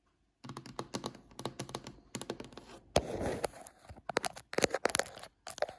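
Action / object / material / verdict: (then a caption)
tap / varnished wooden tabletop / wood / none. Long fingernail tips tap rapidly on a glossy, varnished solid wooden tabletop, making quick, dry clicks with almost no ring. The taps come in uneven bursts, broken around the middle by a brief continuous scratchy stretch before the rapid tapping resumes.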